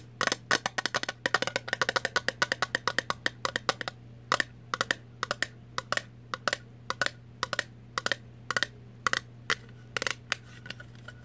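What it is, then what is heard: Metal jar lid. Long nails tap the top of a round, thin metal Vlasic pickle jar lid, printed blue and off the jar. The taps are short, bright clicks with almost no ring. They come in a quick, dense flurry at first, then space out into a slower, steady pattern over a faint low hum.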